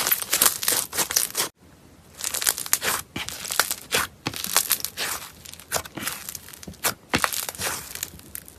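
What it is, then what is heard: Foam bead slime. Fingers squeeze, poke and press a palm-sized lump of pale yellow foam-bead slime (floam), held without a container, producing dense bursts of crunchy, crackling squish sounds. The crackles are bright and mostly high-pitched with almost no low end, separated by a brief near-silent pause around 1.5 seconds.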